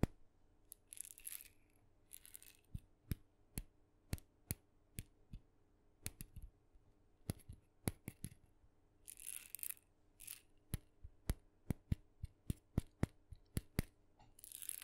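A small red painted wooden mini maraca, hollow with a rattling filling, is held by its handle and tapped with fingernails. Quiet, sharp clicking taps come in an irregular string, broken by a few short bright bursts of rattling filling. A faint low hum sits underneath.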